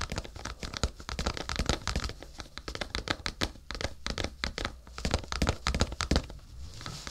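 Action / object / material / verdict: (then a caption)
tap / cardboard tissue box / cardboard / none. A rectangular printed cardboard tissue box with a yellow lily pattern, hollow and apparently full of tissues, is held in both hands above a binaural microphone while fingertips tap and scratch its sides and top. Quick, dry taps and crinkly, papery scratches overlap in a dense, uneven rhythm, with a soft low thump under the bright surface noise. Each sound dies away almost at once.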